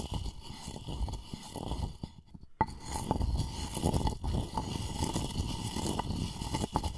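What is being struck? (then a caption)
Wooden mortar and pestle. A wooden pestle is ground and scraped around the inside of a light, hollow, turned-wood mortar that appears empty and is held in one hand close by. The sound is a steady, low, rubbing grind broken by small knocks and clicks, with a faint wooden ring near 860 Hz. A brief quiet dip comes just before a sharper knock at about 2.6 seconds.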